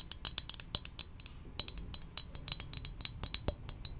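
Gentle, irregular tapping on a ceramic donut-shaped mug gives quick, bright clinks with almost no ring. The taps come in an uneven stream of light clicks with a few sharper accents, in a quiet setting.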